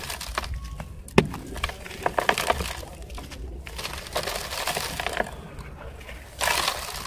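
Large dry grey sand balls are squeezed and crumbled by bare fingers over a heap of loose sand in a pink plastic basin, crushing and rubbing rather than tapping. Gritty, crackling crunches come as the solid, powdery lumps break apart, with a sharp snap early on, a cluster of crisp cracks in the middle, and a bright, hissing rush of falling grains near the end.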